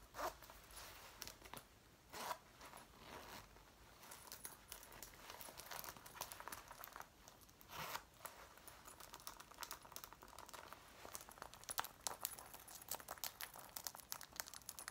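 Fingers with long painted nails work the pull of a metal front zipper on a worn dark brown faux leather jacket and fiddle along the zipper line. The result is quiet, crisp rasping and rapid ticking clicks throughout, with a few louder zipping swells near the start and around the eight-second mark.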